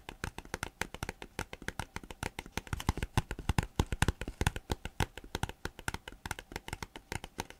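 A thin green plastic folder is held upright while fingertips and nails tap and rub its surface. A rapid, steady stream of short, dry taps follows, each with a soft low thump and a faint bright click, with a light rubbing hiss between them.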